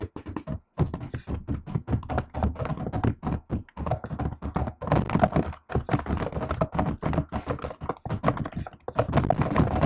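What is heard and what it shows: Fingertips and long nails type steadily on the plastic keycaps of a MacBook-style laptop keyboard. The result is a dense run of quick, dull tapping thunks with clicky nail edges, each dying away almost at once, with short pauses between bursts.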